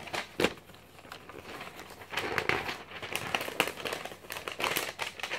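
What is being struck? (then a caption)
Glossy paper magazine. A glossy paper magazine is held spread open while fingertips flip through its thin pages one after another. The paper flutters and crinkles in a series of bright, crackling rustles with brief louder flicks, and almost no low end.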